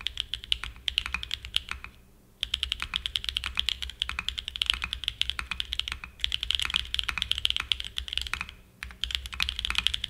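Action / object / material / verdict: tap / mechanical keyboard with aluminum case and plastic keycaps / aluminum, plastic / none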